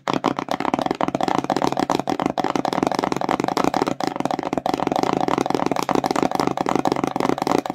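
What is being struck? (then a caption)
Small cardboard box. Long nails tap and scratch rapidly across the front of a small, empty, glossy printed cardboard slime box held in both hands. The result is a dense, steady stream of dry, hollow clicks and scrapes, mostly in the midrange with little low end, each tick dying away almost instantly.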